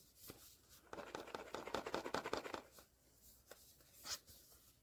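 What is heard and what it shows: A sealed cardboard blind box from the POP MART Skullpanda The Sound series is shaken and weighed, with a vinyl figure inside. A burst of dense, papery rattling and rustling runs from about one to nearly three seconds, with a few sharp isolated knocks before and after. Opening it afterwards reveals the Grief figure.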